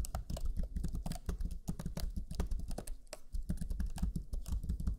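Fingertips of both hands type rapidly on the black plastic chiclet keyboard of a Lenovo Legion 5 laptop, pressing its low-profile plastic keys. The result is a steady stream of soft, dull, closely spaced key taps with a deep, muffled thud under each press and brief clicks above.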